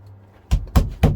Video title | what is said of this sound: Learn The Basic of How To Lay Any Stone DIY | There is loose and here is solid. That's how you know where the one is.